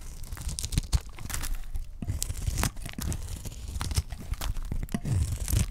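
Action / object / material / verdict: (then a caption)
scrape / bar of soap / soap / none. A dry, solid pale cream soap bar held in the hand is scraped and cut with a utility knife blade. The sound is a steady run of short, dry scraping and crunching strokes with a low thud beneath them and crisp, bright edges on each cut.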